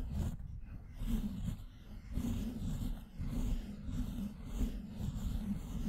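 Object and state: Nothing is struck.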